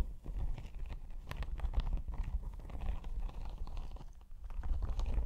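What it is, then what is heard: Faux leather laptop sleeve scratched with nails. Long pink nails quickly scratch and tap a padded, iridescent holographic snake-embossed faux leather laptop sleeve held close in front of the mic. The result is a dense, continuous, low, rumbly scratching texture with fast, dull tapping clicks and a brief lull just past the four-second mark.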